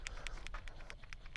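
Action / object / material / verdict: shake / plastic paint dropper bottle with stainless steel ball / plastic, steel / ball inside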